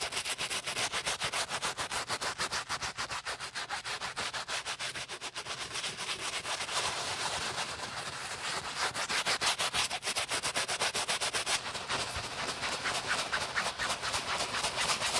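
A beige nylon Prada handbag, hollow and empty and held over a gloved hand, has its strap and body scrubbed back and forth with lather and a wooden-handled natural bristle brush. The rapid, steady strokes make a bright, scratchy, hissing rub with almost no low end, growing slightly louder in the second half.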